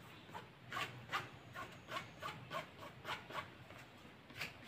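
A hand-sized, solid, cylindrical dark grey Bluetooth speaker with a woven fabric mesh cover is held in one hand while the fingertips and nails of the other scratch and rub along its fabric surface. The result is a quick series of dry, bright, raspy scratching bursts over a quiet, steady hiss.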